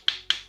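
Raw tuna-filled savory pastries, frozen solid overnight, are tapped twice, producing two sharp, bright clicks with a high ring around 3 kHz that fade within a fraction of a second. The hard, stone-like sound shows the dough is frozen solid before thawing.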